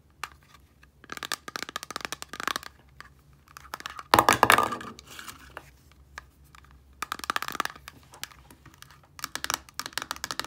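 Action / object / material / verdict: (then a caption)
tap / small plastic bottle partly filled with liquid, with a paper label / plastic / none. Long nails scratch and tap the sides of a small clear plastic micellar water bottle, partly filled with liquid and wrapped in a paper label. Bursts of quick, dry, clicky taps come in clusters with short pauses between them. A louder, crinkly scratching rush comes near the middle.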